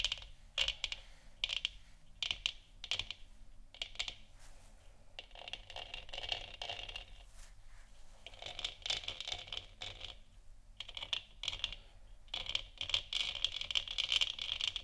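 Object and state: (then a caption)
Plastic moon lamp, hollow. Long nails scratch and tap around the top and sides of a hollow, lit plastic moon lamp sphere with a textured surface. The sound is a steady run of quick, dry, bright scratches and clicks with almost no ring, concentrated in the high range around 3 kHz.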